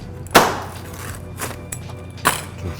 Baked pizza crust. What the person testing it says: how crispy it is